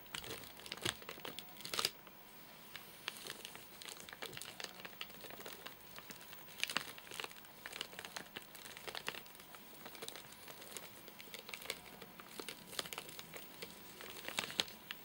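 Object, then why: Nougat bar in a plastic wrapper. Short nails scratch and tap the surface of a full, flat rectangular Soft Nougat bar in a crinkly plastic wrapper. The result is a steady stream of bright, dry crinkling with sharp crackles and short louder bursts, and almost no low end.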